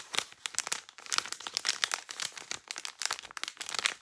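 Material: Plastic.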